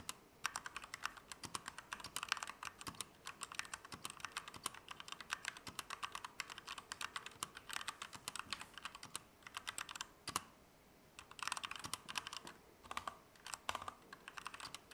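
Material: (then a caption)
Plastic. A compact Keychron K2 V2 mechanical keyboard with Gateron Red switches, plastic keycaps and an aluminum frame is typed on with the fingertips of both hands. The result is a steady stream of short, bright, dry key clacks with almost no low end, broken by a brief pause near the eleven-second mark before the typing resumes.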